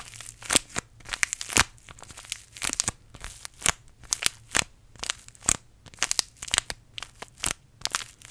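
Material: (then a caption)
Paper. A small green-and-white paper tea bag sachet is held in both hands close in front of a microphone while the fingertips crinkle and squeeze it. Dry, bright crackles and crunches come in quick, irregular bursts with very little low end, each snapping off almost instantly.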